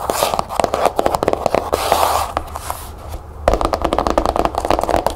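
Long nails tap quickly on a closed, cloth-bound hardcover book with a cherry blossom label on its cover, resting on a table. Rapid, dull mid-pitched clicks run in dense bursts, easing into a softer, brushing scratch in the middle before the fast tapping returns.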